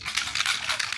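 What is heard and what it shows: A K18 dry shampoo spray can is shaken, giving a bright, rapid sloshing rattle that shows it holds liquid (water) instead of a dry aerosol product. This is confirmed when it is sprayed and comes out wet.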